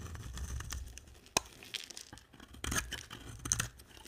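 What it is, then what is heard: Dry soap bar being carved. A hand-sized, blue and white bar of dry soap is held in one hand and shaved with a box-cutter blade in the other. Dry, crunchy scraping and carving strokes sound bright and crackly with soft low rumble underneath, each stroke flaking crumbly chips off the soap.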